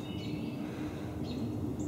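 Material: Nothing is struck.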